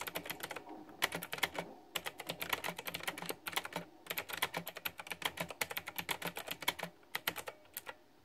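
Fingertips of hands wearing a ring type continuously on a pink flower-themed, backlit, typewriter-style retro mechanical keyboard made of plastic, with round keycaps. Bright, crisp clicks come in quick bursts with brief pauses between them, each tap dying away almost at once.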